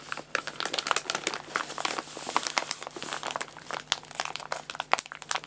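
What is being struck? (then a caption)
Paper food bag. An empty paper guinea pig food bag is rubbed between the hands, and its top edge is folded and crinkled with the fingertips. The result is a dense run of dry, bright crinkles and sharp crackles with no low end, rising and falling in bursts throughout.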